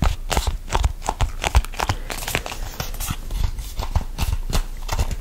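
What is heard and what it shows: A hollow red printed plastic squeeze tube, hand-cream style with a barcode on the side, is gripped and squeezed with fingertips and nails just above the microphone. Close, rapid crinkling and tapping is heard, with dull low thumps under short, bright clicks that stop quickly.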